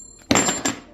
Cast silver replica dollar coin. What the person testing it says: it does ping test properly